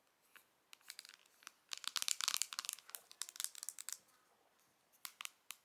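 Long nails tap and scratch the printed cardboard back of a Pillow Talk face palette box held in the hands. Crisp, bright, dry ticks and scratchy rasps come in quick clusters, thickening into a dense crinkly burst in the middle before thinning out. Short quiet gaps sit between the clusters, with no low end or ringing after each touch.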